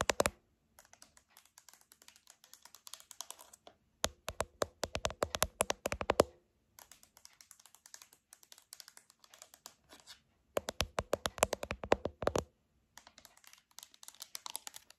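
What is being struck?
Plastic TV remote control with rubber buttons.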